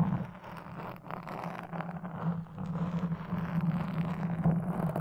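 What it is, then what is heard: Foam microphone windscreen scratched. Wooden toothpicks held in the fingers scratch across a black foam windscreen on a red microphone. The result is a continuous, close, crackly rustling scrape with a steady low hum underneath.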